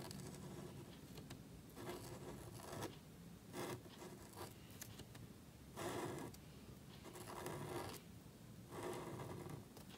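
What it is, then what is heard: Marker nib scratching on cardstock. A calligraphy marker nib strokes and scratches across a small, thin black cardstock card lying flat on a table and held by fingertips while writing. Soft, dry scraping bursts rise and fall in irregular strokes over a low, steady background hiss.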